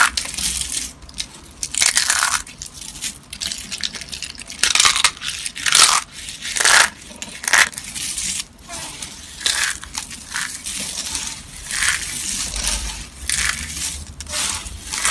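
A pile of pink and purple dry, brittle soap flakes and curled soap pieces resting on a cloth is crushed and squeezed by hand with fingertips and long painted nails. Bright, dry crunching and crackling comes in irregular bursts, each with a crisp onset and a short tail, over a quiet background.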